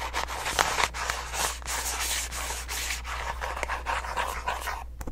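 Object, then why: Small paperboard box. A small, hollow orange printed paperboard box is held in the hands and tapped and scratched with long nails. The result is a steady, dry scratching rustle with bright edges, broken by quick soft taps, over a faint low hum.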